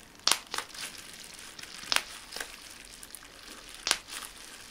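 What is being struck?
Plastic bubble wrap.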